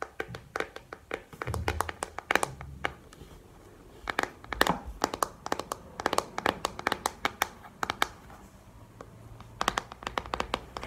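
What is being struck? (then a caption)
Plastic paddle hairbrush. Fingernails tap and scratch a pink plastic paddle hairbrush with bristles and a hollow handle. Quick bursts of sharp, bright clicking taps come with short pauses between them, and a soft scratching texture and a faint low rumble sit underneath. Each tap dies away almost instantly.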